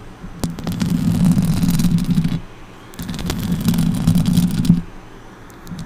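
Long orange acrylic nails scratch the hollow metal mesh grille of a silver Blue Yeti microphone from both sides. Two bursts of dense, rasping scratches are heard, each carrying a low, throbbing rumble with bright clicky ticks on top. A quieter pause separates them, and the clip ends with a few faint ticks.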